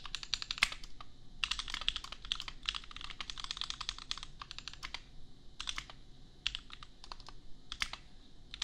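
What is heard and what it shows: A custom 60% mechanical keyboard with Gateron Milky Yellow switches and red and white plastic keycaps, resting on an anime desk mat, is typed on with the bare fingertips of both hands. Quick runs of bright, crisp plastic clacks come in bursts separated by brief pauses, each keystroke short and dry with almost no ring.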